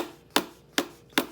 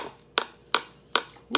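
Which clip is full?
The first.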